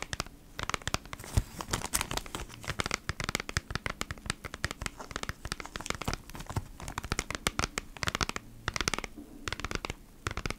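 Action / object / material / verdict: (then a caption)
scrape / cardboard pack in a clear plastic sleeve / plastic, cardboard / none. Long nails scratch and tap across the front of a flat beeswax wrap retail pack, a cardboard package in a clear plastic sleeve. Dense, crackly plastic scratching and crinkling mixes with many short, dry taps that stop instantly with no ring, in quick irregular bursts throughout.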